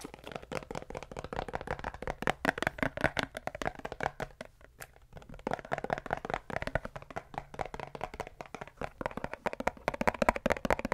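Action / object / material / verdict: tap / small plastic pump spray bottle, partly filled with liquid / plastic / none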